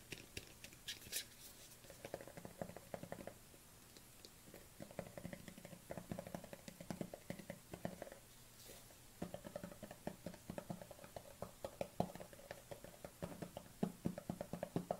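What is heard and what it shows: A black plastic collagen supplement tub is turned in the hands while long nails tap its side and bottom. The result is quiet, rapid, dry plastic taps with a hollow low tone and very little ring, coming in dense bursts with brief lulls.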